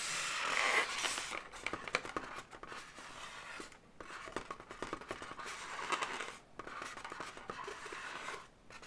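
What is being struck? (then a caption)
Inflated latex balloon animal. Long nails scratch and rub the surface of an inflated, hollow blue latex balloon dog in close-up. Bright, dry scratching and squeaky rubbing come in fast, uneven bursts of short clicks, with brief pauses around 4 and 6.5 seconds before resuming.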